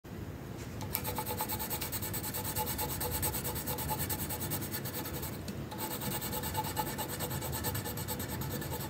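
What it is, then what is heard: Paper sheet being colored with a pencil. The tip of a magenta wooden colored pencil colors a flat printed paper coloring sheet resting on a hard surface. Continuous rubbing and scratching strokes give a steady, dry rasp with a bright papery hiss, easing briefly just past the midpoint before carrying on.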